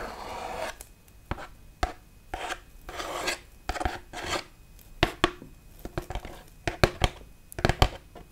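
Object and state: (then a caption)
Foam Halloween tombstone, scratched. Long nails scratch and rub the smooth grey bat relief on top of a large foam Halloween tombstone. Broad, raspy scraping strokes alternate with short, sharp taps and clicks. Toward the end the taps come quicker and louder, with a dry, low-mid body and no ring.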